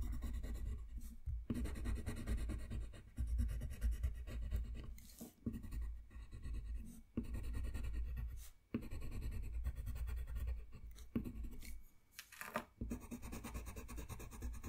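The tip of a yellow colored pencil, held in the fingers, rubs and scratches across a thin white paper coloring sheet lying flat on a white desk while stars are colored in. Steady, dry scratching strokes run in bursts, separated by a few brief pauses. The sound is soft and muffled, weighted low, with little bright hiss.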